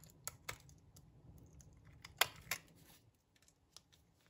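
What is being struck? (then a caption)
Laundry soap bar shaved by a metal blade. A metal blade shaves long strips off the edge of a solid, dry brown laundry soap block. Several short, crisp, bright scraping crackles stand out, the loudest near the middle, over a faint low background hum. Each scrape stops almost at once.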